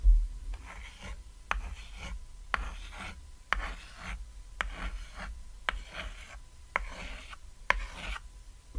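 White chalk draws stars and wavy lines on a small, thin, flat chalkboard shaped like a cat's silhouette, lying on red fabric. Seven sharp clicks stand out as the chalk meets the board, each followed by bursts of dry, raspy scratching strokes. A steady low hum runs underneath throughout.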